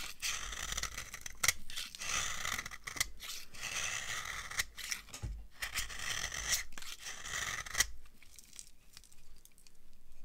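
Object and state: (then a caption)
Dry laundry soap bar. A metal knife carves a dry, translucent amber laundry soap bar, shaving off crumbly yellow flakes. Bright, crunchy scraping strokes come in bursts, with sharp crackling clicks. After about eight seconds the sound thins to quieter, sparser scratches.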